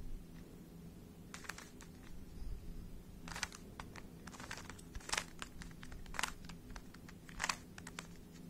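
A small, hollow plastic 3x3 speed cube is held close to the mic while fingertips turn its layers. Short, bright clicks and scrapes come in scattered bursts, with a few louder snaps, over a steady low hum.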